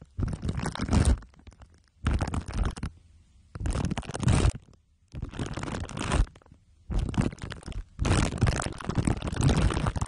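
Two glue sticks are rubbed over the top of a microphone head wrapped in crumpled aluminium foil under clear plastic wrap. The result is six bursts of dense, sticky crinkling and rubbing, heavy in low rumble, separated by short quiet gaps.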